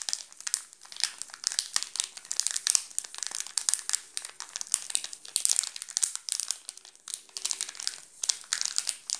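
Fingertips scratch and crinkle the plastic film wrapper of a wrapped chocolate bar. The result is a dense, bright stream of sharp crackles and rustles that rise and fall in quick bursts, with almost no low end.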